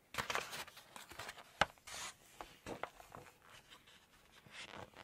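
Glossy pages of a large open Chinese cookbook are lifted and turned while long nails tap and rub across the paper. Soft, bright rustles and swishes alternate with crisp nail taps, including one sharp click near the middle, all at a quiet, close level with almost no low end.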